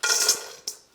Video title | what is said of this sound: French Fries | Hear how crispy that sounds? That does not sound like a mushy fry